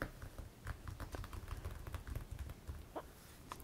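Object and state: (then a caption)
Hardcover card album binder. Fingertips and nails of both hands tap the printed hard cover of a closed Pokémon card album lying flat on cloth. The result is a quick, irregular patter of soft, low, dull thuds, with occasional light clicks from the nails, each dying away almost at once.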